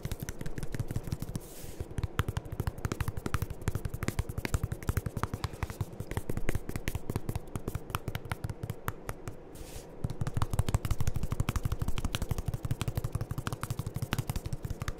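A medium white plastic Aveeno lotion bottle with a pump top, hollow and seemingly partly full, is held close to the microphones and rapidly tapped and rubbed with fingertips. The result is a dense, irregular stream of quick, dull, hollow taps with a low, thumpy body and short scraping rubs between them. The taps pause briefly near the start and again around the ten-second mark before picking up louder.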